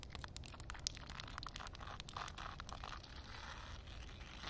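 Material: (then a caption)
Concrete. Long nails and fingertips scratch and tap on a solid concrete slab covered in shallow water. The result is a dense stream of quick, crisp ticks and gritty scrapes with bright, high sparkle, riding over a steady low rumble.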